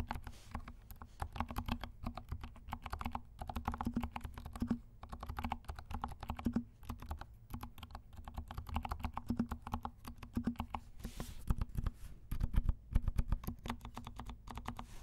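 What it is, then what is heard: Mechanical keyboard with silent switches. Fingertips of both hands tap quickly on a compact plastic mechanical keyboard with silent switches and black and pink plastic keycaps. The result is a steady stream of soft, muted, low thuds with very short decay and almost no bright click, rising into a few louder flurries of keystrokes near the end.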